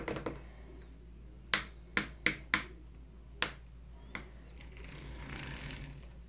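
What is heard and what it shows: Fingers grip, rub and flick along the ribbed coils of a long, flexible, hollow shower hose with a bronze metal finish, hanging in front of a shower wall. A few soft taps are followed by six sharp, bright metallic snaps that die away quickly, then a faint scraping hiss as the fingers rub along the coils.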